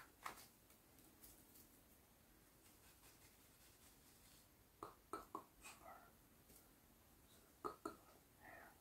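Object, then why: Whole coconut in fibrous husk. A knuckle and fingertips tap and scratch the hairy husk of a whole, hand-sized fibrous coconut held up in the hand. Six short, dry, soft taps sound around 1.3 kHz with almost no ring, spaced unevenly. Faint brushing scratches fill the gaps over a quiet background.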